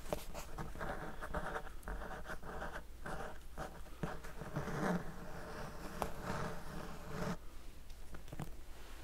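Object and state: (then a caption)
Hardcover book. A medium-sized blue and white solid hardcover book is held in one hand and tapped and scratched with the fingertips of the other. The result is a steady run of soft, dry scratching and patting with short tapping bursts over a low hum.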